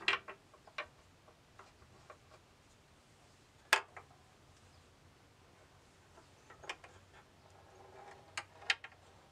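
A small steel ball rolls through a bamboo tilt-maze board set in a hollow wooden frame as fingers tilt it using the knobs. Sharp, bright, short clicks sound as the ball taps the wooden walls and floor, with a faint rolling rustle in between. The taps come at irregular intervals, with the loudest strike near the middle and a cluster toward the end.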